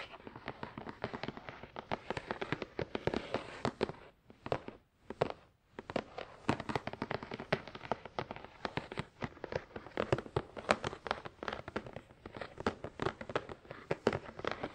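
Fingertips of both hands rapidly tap and scratch a hollow, glossy black printed cardboard product box for a Tascam DR-100 mkII resting on a towel. Dense, crisp clicks and scrapes carry a hollow mid-range tone, briefly thinning out with short pauses around the 4 to 6 second mark before the quick tapping resumes.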